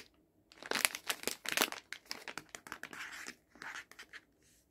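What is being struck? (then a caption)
Soft plastic pouch of face wipes. A hand-sized, soft, flexible plastic pouch full of cleansing face wipes, with a hard plastic resealable lid, is held in both hands while fingertips and nails squeeze and rub its crinkly plastic film. After a near-silent start, bright, dry crinkling bursts come in quick, uneven clusters with brief pauses between them, fading to quiet at the end.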